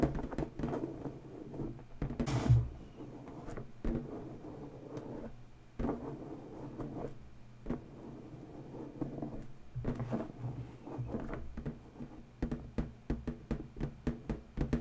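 Long bare natural nail tips tap and scratch the taut surface of a large, inflated, hollow, air-filled purple latex balloon. The result is a run of soft, low, drum-like taps with a short ring, plus rubbing scratches and one louder, broader squeak-like burst early on. The taps cluster into a quick flurry at the end.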